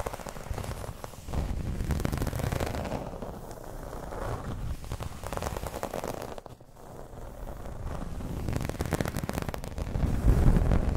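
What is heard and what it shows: Long pointed red acrylic nails scratch and tap the surface of a thin, round, dark green textured plastic (PVC-like) placemat with an embossed wave pattern lying flat on a table. The result is a dense, crackling scratching with a low, muffled body that swells and fades, briefly drops near the middle, and grows louder toward the end.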